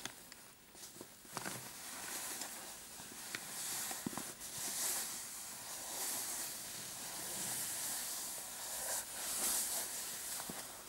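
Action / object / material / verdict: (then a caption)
scrape / padded fabric clutch purse with metal clasp frame / fabric / none. A medium-size dark patterned fabric clutch purse with a metal kiss-lock frame, soft and padded, lies on a mat and is scratched and squeezed with short painted fingernails. Bright, hissy scratching rustles on steadily, with a few soft taps and clicks scattered through it.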